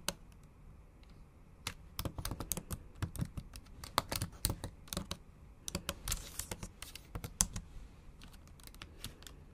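Long acrylic nails tap out irregular bursts of typing on a MacBook Pro's black plastic keys set in an aluminum body. Sharp, bright clicks stop almost instantly, heard over a faint low background hum, with some taps coming in quick clusters and others spaced apart.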